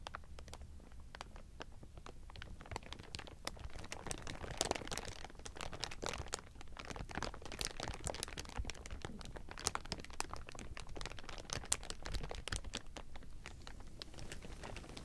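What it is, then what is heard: Thin plastic film crinkling. Hands squeeze the bottom edge of a pile of thin, clear plastic sheeting, producing a steady stream of dense crinkling and crackling. Sharp, bright snaps stand out over a low, rumbling base throughout.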